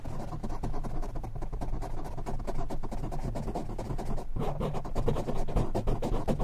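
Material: Foam.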